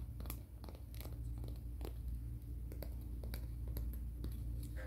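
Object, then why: Emery board nail file. Fingernails are scratched and filed across the abrasive face of a flat, thin, solid grey-black emery board nail file held in both hands. Quick, irregular scratchy strokes flick bright and raspy over a steady low hum throughout.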